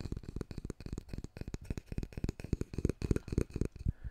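Fingertips and nails tap and scratch along the solid wooden handle and back of a handheld, long-handled wooden hairbrush with black bristles. About 21 quick, dry, low thuds come in an uneven run with soft scratchy texture between them. Each one stops almost instantly with no ring.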